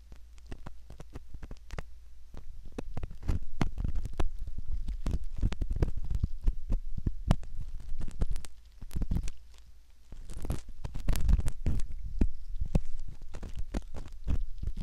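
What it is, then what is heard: Silicone ear model. A curved metal pick scratches at the ear canal of a soft silicone ear model, making dense, rapid crackling and scraping scratches with muffled low thumps. The scratching runs almost continuously, with a brief quieter gap just before the ten-second mark, then it resumes louder.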